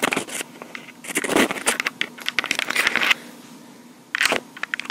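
Long pink acrylic nails tap and scratch around the top of a small black plastic Tascam portable recorder with metal grilles. Bursts of bright, crackly clicks and scratchy rubbing come and go, with a quiet stretch near the end before a final flurry of taps.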